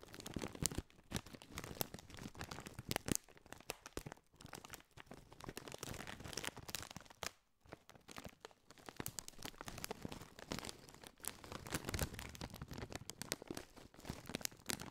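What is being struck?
Metallized plastic chip bag.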